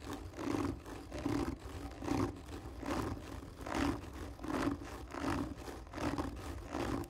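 Long fingernails scratch slowly and hard across the top of a hollow, textured cardboard tube lying on its side. Nine rasping strokes rise and fade at a steady pace, each carrying a hollow, boomy resonance from the tube.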